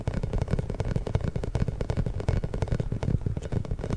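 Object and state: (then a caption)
Rubber spiky massage ball. A large, pink, inflated hollow rubber massage ball with small spikes is held behind the microphone and rubbed and tapped with fingertips and short nails. The result is a rapid, continuous run of dull, deep thumps and soft scratchy rubbing, with almost nothing in the high range and no ringing after each hit.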